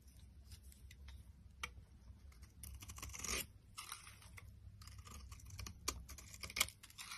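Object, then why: Bar soap shaved with a metal blade. A solid, dry purple and white striped bar soap is shaved with a metal utility blade, giving quiet, dry scraping strokes with crisp, crackling textures. A dense run of short, bright strokes has a few sharper clicks and louder shaving passes standing out over a low steady rumble.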